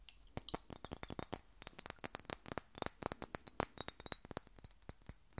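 Long acrylic nails tap and scratch the thick glass body of a small square Miss Dior perfume bottle with a metal cap and a fabric bow, about half full of pink liquid and held in one hand. About 29 quick, sharp clicks ring out in an irregular patter, each dying away almost at once, with a faint high glassy ring and light scraping between the taps.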